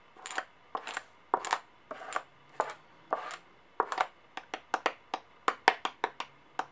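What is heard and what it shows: Small solid brass-colored and silver metal coins on a clipboard are held upright between nails and fingertips, then tapped and clinked against each other and against the coins lying flat. The first half brings clustered, jingling clinks; the second half turns to quicker, single sharp taps. Each contact is a bright metallic tick that dies away almost at once.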